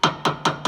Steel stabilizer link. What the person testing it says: You can hear that tinny sound.